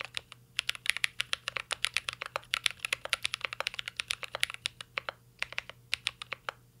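Fingertips of both hands type on a full-size CYBERBOARD R3 mechanical keyboard with an aluminum case, plastic keycaps and Holy Panda switches. The result is a rapid, steady stream of short, crisp, bright key clacks centered around 2.2 kHz, each dying away almost instantly, with almost no low end.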